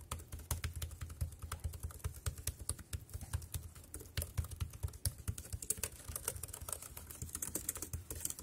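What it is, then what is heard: Plastic keyboard typing. Fingertips type quickly on the round keys of a dark grey plastic wireless keyboard. A steady, rapid run of sharp, short clicks has a soft low thud under each press and a bright, high tick on top. Each click dies away almost instantly.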